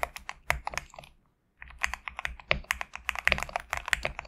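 Both hands type rapidly with their fingertips on a GMK67 compact 65% mechanical keyboard with a black case and white/cream PBT plastic keycaps, resting on a desk mat. Quick, sharp, bright key clacks come in dense bursts, pause in near silence for about half a second, then resume at a steady, busier pace. Each keystroke is short and dry, with almost no ring.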